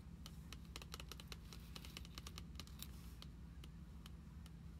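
Long acrylic nails tap rapidly on a glossy plastic-covered card binder, filled with cards and lying flat on a table. The sound is a quick run of sharp, bright clicks over a steady low hum.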